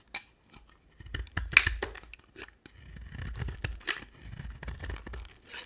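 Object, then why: Bar of soap cut with a knife blade. A solid white soap bar with a red rim is scraped and shaved with a utility knife blade. Crisp, bright scraping and crackling shavings come in short bursts and a few sharper clicks, with brief quiet gaps between strokes.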